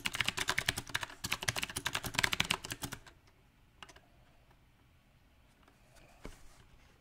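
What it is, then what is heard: Mechanical keyboard with round plastic keycaps. Fingertips type on a compact backlit mechanical keyboard with round plastic typewriter-style keycaps, with one hand briefly typing alone on the left keys. A dense, uneven burst of bright, sharp clicks fills the first three seconds. It then drops to near silence, broken only by a few isolated keystrokes.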